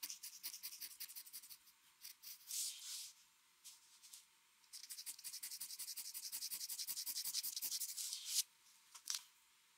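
A metal mechanical pencil sketches lines on a flat white drawing paper sheet resting on a desk, making bright, dry scratching and rubbing sounds. Quick runs of short strokes alternate with a few longer drawn-out rubs, with a dense stretch of rapid scribbling before a last couple of strokes. The sound is thin and high with almost no low end, and each stroke stops dead with no ring.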